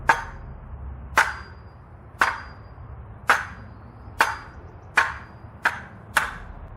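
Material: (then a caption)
Steel. A lightweight steel Everything Wing Chun butterfly sword blade strikes a hard bamboo target eight times in an uneven rhythm. Each hit gives a sharp, bright crack with a short bell-like ring, which is also felt as vibration in the handle. Nothing on the sword is coming loose.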